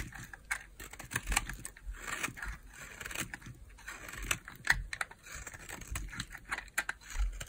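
A small, solid peach bar of hard soap is held in the hand and shaved with a utility knife blade, cutting off slices. Quick, dry scraping and crisp clicking cuts come one after another with short pauses, and the slices come away from the bar.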